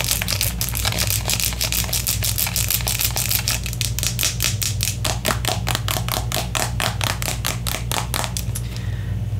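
Long nails rapidly tap and scratch along the body and cap of a hand-sized, hollow, white and yellow soft plastic cosmetic squeeze tube that appears partly full. The result is a fast, steady stream of crisp, bright clicks and scrapes over a constant low hum, ending with the tapping fading out.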